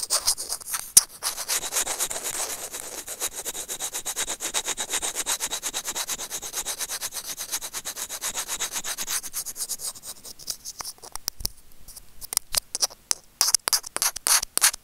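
Curved steel tweezer tips rub and scratch the casing of a small, hollow white plastic earphone microphone remote. The result is a fast, steady run of bright, hissy scratching strokes for about ten seconds, then sparser, sharper scrapes and clicks. The sound has almost no low end.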